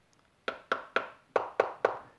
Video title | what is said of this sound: EVE 280Ah 3.2V LiFePO4 Prismatic Batteries, Review and Testing | it almost sounds like it's plastic material or something like that